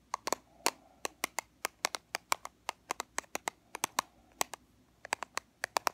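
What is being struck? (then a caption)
Small plastic powder compact. A small black plastic powder compact, held on its edge, is tapped and scratched along its sides with fingernails. Around thirty quick, dry clicks land in an uneven rhythm, each a bright snap centered near 1 kHz that dies away almost instantly. Faint scratching fills the gaps between them.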